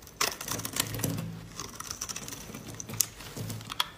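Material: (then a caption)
Soap. A solid yellow laundry soap bar held in white-gloved hands is scraped repeatedly with a metal blade, shaving off dry flakes. Close, crisp scratchy rasps and bright ticking clicks overlap with a low hum, without clear separation between the strokes.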